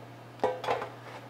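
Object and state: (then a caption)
Hollow-sounding, fully baked bread loaf. A spelt yeast bread loaf, just out of the oven after half an hour, is tapped twice, giving two short, hollow knocks with a mid-range ring. The hollow sound shows the bread is baked through and done.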